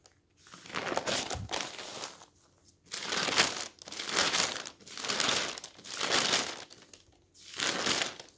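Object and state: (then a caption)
Newspaper pages rustling. Thin newsprint pages of a newspaper are flipped quickly by hand, fluttering and rustling in six bright, crinkly bursts separated by short pauses. The sound is papery and hissy with almost no low end.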